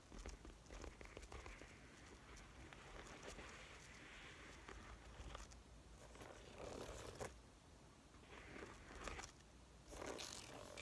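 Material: Faux leather.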